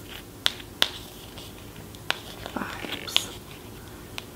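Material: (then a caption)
Cardboard. A hand-held flat cardboard eyeshadow palette box is tapped on its front surface with long painted nails. Nine sharp, bright, dry clicks come at uneven intervals with almost no ring, over a quiet background hiss.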